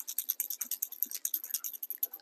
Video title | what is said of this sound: Jason Mathe of Ghost Tackle speaks at M-W Marine Fishing Seminar | shake this you can barely hear it